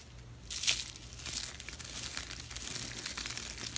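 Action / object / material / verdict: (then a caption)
scrape / rolled soap shavings / soap / none. A palm-sized pink spiral roll of thin dry soap shavings with a hollow centre is held in one hand over a pile of pink soap flakes and squeezed and crushed by the fingertips. It gives bright, dry crinkling crunches, loudest in a sharp burst early on, then a steady run of fine crackles with a faint low hum underneath. The roll crumbles into flakes.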